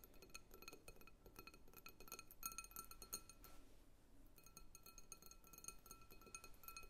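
Long acrylic nails tap rapidly on the sides of a medium clear glass bowl full of red and purple water beads, held on a wooden table. Each quick, bright clink carries a steady glassy ring near 1.3 kHz that dies away almost at once. The taps come in an uneven, continuous patter with a soft, low rumble underneath.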